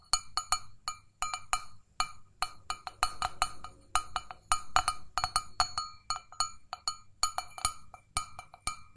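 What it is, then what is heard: Stainless steel mug. An empty, hollow stainless steel mug, held in both hands, is tapped rapidly with long fingernails. Each sharp metallic tick carries a clear ringing tone around 1.25 kHz, with bright overtones, and dies away almost at once. The taps come in an uneven, quick rhythm over a faint low background.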